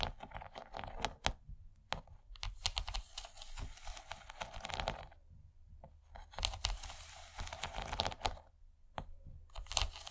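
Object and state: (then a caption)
Plastic serving tray, tapped and scratched. Long nails of both hands rapidly tap and scratch the textured ridges of an empty, rigid yellow plastic corn-shaped serving tray. Quick, bright clicks mix with dry, crinkly scraping bursts over a low rumble. The sound pauses briefly between busy flurries.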